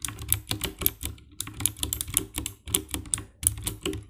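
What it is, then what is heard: Plastic mechanical keyboard. Fingertips and nails type on the keycaps of a compact 60% black plastic mechanical keyboard with RGB backlight. Quick, dry key presses sound in uneven bursts, each with a bright clicky top and a low thock. The taps stop almost at once, with no ring.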